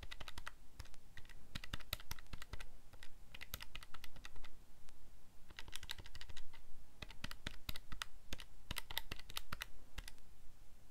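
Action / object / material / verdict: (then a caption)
tap / plastic calculator keypad / plastic / none. Fingertips press and click the plastic keys of a calculator keypad in a rapid, uneven run of presses over about eleven seconds. Each key gives a short, dry click with a bright edge and almost no ring, leaving a busy stream of taps that pause briefly and then resume.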